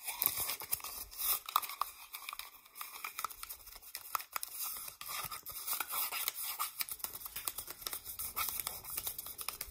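Long nails tap and scratch a small, hollow cardboard toilet paper tube, with some fingers inside the tube. The sound is a quiet, steady run of crisp, dry clicks and scrapes with a bright, hissy top end and almost no low end, each tap dying away almost instantly.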